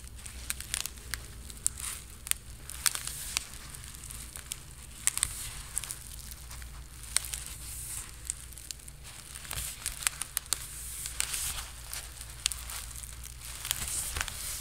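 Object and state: Woven plastic beach mat.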